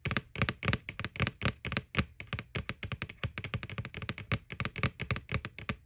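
Fingernails tap rapidly and irregularly on the front wall of a white, hollow plastic McBoo Halloween bucket. Each tap gives a short, dry click with bright edges over a low, hollow body thump, and the taps die away almost at once in a steady, uneven patter.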